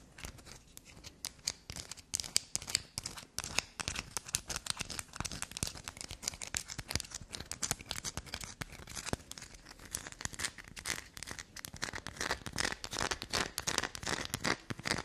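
Long black nails scratch and dig into an irregular carved solid black soap block with fast strokes. The result is a dense run of quick, dry, crackling scrapes and crumbly tearing sounds, bright and crisp with little low end.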